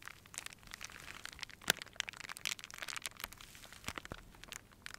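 A small crumpled ball of clear plastic wrap is held between both hands and squeezed and crinkled with the fingertips, with a string of fairy lights nearby. A steady run of quiet, bright crinkling crackles with sharp, instantly fading snaps is heard, including a louder crack near 1.7 seconds. There is almost no low end.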